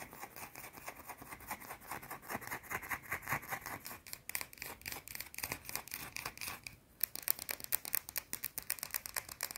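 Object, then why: Round bar of soap. Long painted nails scratch a small, round, solid white soap bar held in one hand, making fast, dry, bright scratching strokes in a quick, uneven rhythm. Just before the seventh second there is a brief lull, then the scratches return sharper and a little louder until the end.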